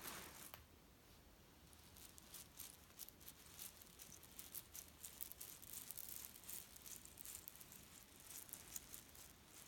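Fingertips scratch and tap along the edge and surface of a flat grey leaf-print cotton pillow filled with cherry stones, resting on a bed. The result is a quiet, bright, crisp patter of dry clicks and gritty rustling as the stones shift inside the fabric, each tick dying away instantly with no ring.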